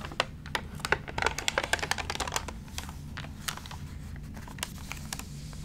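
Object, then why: Glossy paper magazine. Fingertips rub over the crinkled pages of an open, wrinkled, water-damaged glossy paper magazine, then lift and turn a page. Sharp, dry crackles and bright clicks come in a dense, irregular flurry for the first couple of seconds, then thin out to occasional crisp snaps over a low, steady background rumble.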